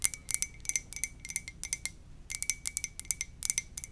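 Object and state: Ceramic mug.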